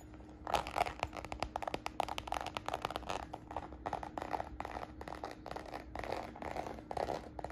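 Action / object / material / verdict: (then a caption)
scrape / faux leather handbag with embossed croc texture / faux leather / none. Long nails scratch and tap the textured surface of a small red faux-croc patent leather handbag, held up, its croc-embossed faux leather giving dense bursts of dry crinkly scraping and clicky taps. The sound stays quiet and close, with short sharp attacks, bright grainy texture and a faint steady low hum underneath.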